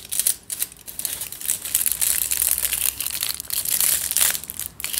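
Fingertips scratch and crinkle crumpled aluminium foil wrapped around a long tube, making a dense, steady run of bright, crackling rustles. The sound is almost all high-pitched crinkle with very little low end, and it swells and dips slightly in loudness throughout.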